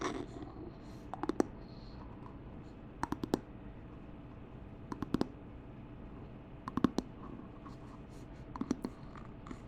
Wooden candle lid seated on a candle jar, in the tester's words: Tapping on a wooden candle top, attached to candle base (nice hollow knocking)